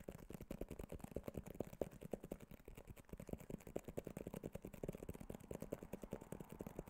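A small white cardboard iPhone box with a glossy printed front is held close to the microphone and tapped rapidly with fingertips and nails. Each tap is a short, dry, hollow knock with a low thud and a midrange body that dies away almost instantly. The taps come in a quick, uneven, continuous patter with very little bright content.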